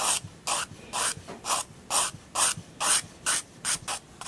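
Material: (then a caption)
Paper. A 4B graphite pencil held in the fingers draws lines on a large white spiral-bound sketchbook page, a solid flat sheet resting on a wooden desk. About ten short, bright, papery scratching strokes repeat at a steady rhythm, each a dry rasping rub with little low end and quiet pauses between.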